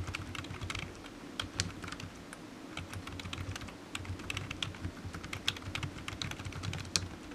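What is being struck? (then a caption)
Plastic computer keyboard. A low-profile black plastic computer keyboard with hollow keys, resting on a desk mat, is typed on quickly with the fingertips. Fast, irregular taps of the keys give short, bright clicks over a soft, hollow low thump, and each one dies away almost at once. The typing runs steadily throughout, with a few sharper, louder keystrokes standing out.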